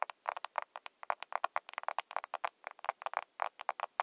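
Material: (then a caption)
Plastic. A small, closed, hollow pink plastic cushion foundation compact is held in both hands and tapped with long nails on its lid and surface. About 27 quick, dry, clicky taps come in an uneven rhythm, each sharp with a bright edge and almost no ring. The taps have no low-end body.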